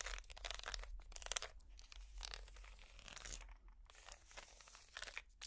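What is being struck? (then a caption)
Small woven wicker basket. Plastic finger picks scratch along the outside and bottom of a small, empty woven wicker basket. The result is a quiet run of dry, bright, crackling scrapes in uneven bursts with brief pauses between strokes, over a faint low hum.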